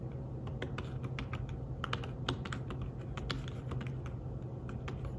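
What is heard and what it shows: Fingertips tap steadily on the keys of a thin, flat, grey fabric-covered folio keyboard for a tablet. The taps are soft, muted clicks with short, bright edges that die away quickly, over a steady low hum.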